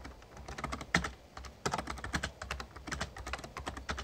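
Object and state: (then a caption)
Plastic membrane keyboard being typed on. Rapid fingertip typing with both hands on an RGB-backlit plastic Razer Ornata Chroma membrane gaming keyboard with a hollow casing. A dense run of short, crisp key taps with a hollow low thump beneath them, and a few louder strikes standing out from the steady clatter.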